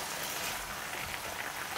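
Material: Nothing is struck.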